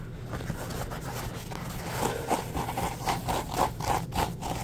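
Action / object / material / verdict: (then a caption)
scrape / paper towel roll / paper / none. Fingertips rub and scratch a full roll of embossed white paper towels with a cardboard core. Soft, papery scraping strokes repeat in a quick, uneven rhythm, each carrying a faint mid-range squeak. A steady low rumble sits underneath.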